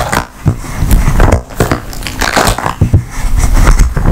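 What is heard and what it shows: An empty blue flexible silicone/rubber ice cube tray with 15 hollow cells is bent, twisted and tapped with long nails. The result is a steady run of dull, low-heavy crunching and squishing with soft taps scattered throughout, and little bright content.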